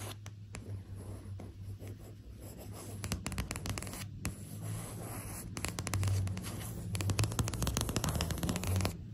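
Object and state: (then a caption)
Printed paper sheet scratched with nails. Long acrylic nails scratch and tap across a thin, flat printed paper or card sheet bearing the Serbian flag, which lies on fabric. Quick, uneven dry scratches and light taps rasp over a steady low hum, growing busier and a little louder in the second half.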